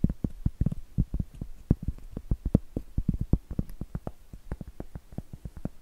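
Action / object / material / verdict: tap / cork trivet / cork / none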